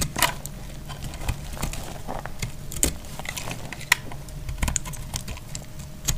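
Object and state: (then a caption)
Dry soap bar being cut. A metal blade repeatedly scrapes and cuts crumbly shavings from a solid, hand-sized pink dry soap bar held in the hand. Quick, dry, crackly clicks and scraping snaps come in a rapid, uneven series, with bright, sharp edges over a low, steady rumble. Each cut stops almost instantly with no ring.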